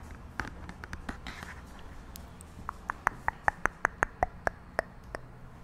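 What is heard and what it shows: A small, flat, pink-beige cardboard makeup palette with an oval pan inside is held close to the microphone in both hands and tapped and scratched with long nails. Quiet scratching and scattered taps at the start give way to a run of sharp, dry nail taps, about a dozen clearly separated clicks in the last half, each with a short bright knock and no ring.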